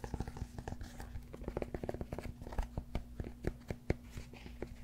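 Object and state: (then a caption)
Cork yoga block. Fingernails scratch and fingertips tap the surface of a large solid cork yoga block close to the mic. A rapid, uneven run of dry, dull, low-heavy taps mixes with soft crinkly scratching, and each tap dies away almost instantly with no ring. A faint steady low hum sits underneath throughout.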